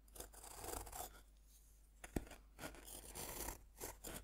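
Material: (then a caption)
Compressed powder. A metal fork scratches and scrapes the flattened face of a solid, roughly fist-sized pink bath bomb of compressed powder held by hand, with powder falling onto a wooden board. Repeated dry, gritty scraping strokes come in bursts, with one sharp click partway through.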